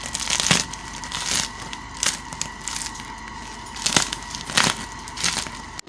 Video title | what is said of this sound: 귀요미 식사빵 만들기🥖 | Listen to how crispy it is.